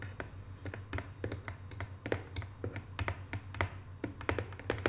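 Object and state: Cardboard box tapped with fingernails.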